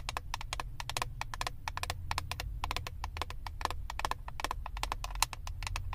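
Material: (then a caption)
Plastic. Long acrylic nails rapidly tap and scratch the clear plastic lid of a flat eyeshadow palette. The result is a dense run of short, sharp clicks with a bright edge and a tone near 900 Hz, over a steady low rumble.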